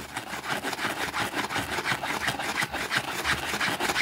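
A white plastic brush scrubs a small, thin, soapy green fabric rug on a concrete floor while a finger holds its edge. Quick back-and-forth strokes, roughly three per second, make a steady, hissy, bristly rasp that is bright and has very little low end.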